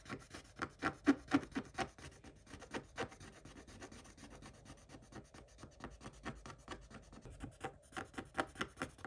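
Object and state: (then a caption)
Scratch-off coated paper page being scraped. A wooden stick scratches across a scratch-off coated paper page, flaking off the coating. Quick, dry rasping strokes repeat about four times a second, some louder and sharper than others, over a thin, bright scraping hiss.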